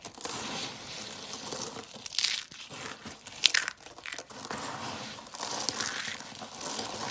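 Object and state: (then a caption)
Dry soap flakes being crushed. A pile of multicolored dry soap flakes is rubbed, crushed and sifted between fingers and palms. It makes a dense, bright, irregular crunching and crinkling with a few sharper crackles. There is almost no low end.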